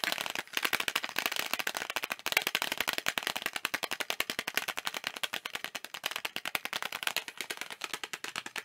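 Fingertips tap rapidly on a thin, hollow blue plastic video game case with a printed cover, held up in both hands. The sound is a fast, continuous stream of dozens of dry, bright clicks, each cutting off instantly with no ring or low end.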